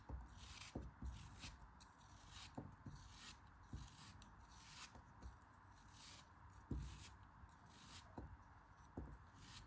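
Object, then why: Block of kinetic sand. A solid block of pink kinetic sand held in the hand is cut and scraped apart with a craft knife. Quiet, crumbly scraping and bright, crisp grainy hiss run throughout, with seven soft, low thuds as the blade cuts through and pieces break away.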